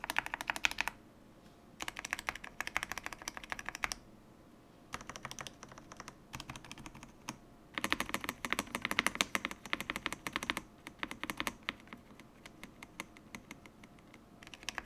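Fingertips type on a full-size stock Yunzii YZ98 mechanical keyboard with plastic keycaps. The keys give rapid, bright clacks in bursts of typing separated by short pauses. Each click is sharp with almost no low end.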